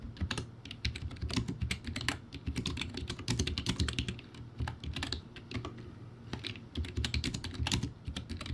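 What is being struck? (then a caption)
Plastic keyboard with round keycaps. Fingertips type fast on a backlit plastic typewriter-style keyboard with round white plastic keycaps, producing a steady stream of sharp, bright clicks over a low, hollow clatter. The keystrokes come in quick runs with brief lulls between them.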